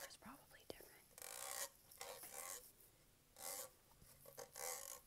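Fingernails scratch and tap across the raised grid texture of a dark metallic-green Starbucks tumbler made of hollow plastic, held in hand with its lid and straw on. A sharp tap early on is followed by four bright, rasping scrapes separated by quieter pauses.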